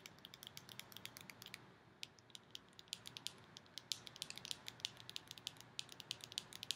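Long nails tap and squeeze a small round purple plastic tub with a clear lid, full of purple slime and held in the hands, making the plastic creak. A quiet, rapid, uneven run of sharp, bright clicks and ticks dies away almost instantly over a faint low hiss.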